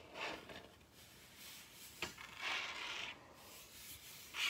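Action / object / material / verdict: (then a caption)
scrape / wooden table top / wood / none. Long red nails rub and scratch across a large, solid wooden table top in bright, hissy strokes that swell and fade. Two short, sharp taps stand out against the rubbing.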